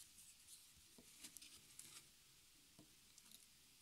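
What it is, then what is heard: Stretched cotton canvas tapped with fingernails. Fingertips and long nails tap rapidly on the fabric-covered, stapled side edge of a small white stretched cotton canvas on a wooden frame lying on a table. The result is a quiet stream of light, bright, pattering clicks with very short decay.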